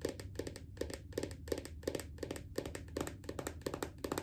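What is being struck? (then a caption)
Plastic body butter tub. Long acrylic nails tap the lid of a small round red plastic body butter jar resting on a leg. Quick clusters of short, dry clicks repeat in an uneven rhythm, with a hollow tone around 400 Hz and bright nail ticks that fade almost instantly. A faint low hum runs underneath.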